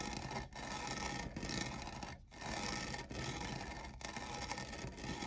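Fingernails scratch the textured lower side of a tall, hollow, lavender plastic jeweled tumbler that appears empty. The result is a dense, continuous, bright rasping scrape with brief pauses between strokes.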